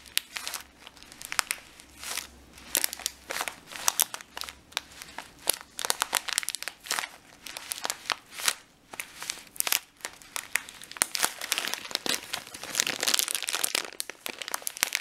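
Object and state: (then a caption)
Plastic bag of dried lentils. A full plastic bag of dried lentils is pressed with fingertips and nails, then its top is crinkled and pinched between the hands. Dense, bright crinkling and crunching snaps come in quick bursts throughout, with the grains shifting inside the plastic.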